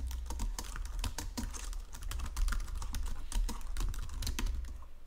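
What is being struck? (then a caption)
Plastic computer keyboard. Fingertips and nails tap and press the keys of a white plastic Logitech keyboard resting on marble, producing a rapid, steady stream of short, bright clicks. A constant low hum sits underneath the typing throughout.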